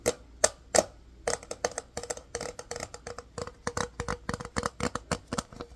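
A small, hollow, empty rectangular case of clear hard plastic, held in both hands, is tapped with the fingertips and nails. A quick, irregular series of sharp, dry clicks follows, each with a faint hollow ring around 640 Hz and bright upper edges, dying away almost instantly.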